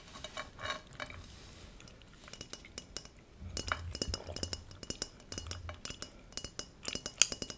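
A large, thin hammered brass plate with a raised center, held upright, is tapped with long nails and fingertips. Quick, bright metallic clinks ring out in irregular bursts, each dying away almost at once.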